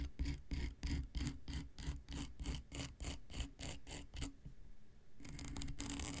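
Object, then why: Emery board nail file. An X-Acto knife blade is scraped in short strokes across a long, flat, dark grey emery board nail file with a solid, gritty surface. It makes a quick, regular series of rasping scratches with a low thump under each, then a brief quiet pause. It ends in a steadier, continuous bright scrape.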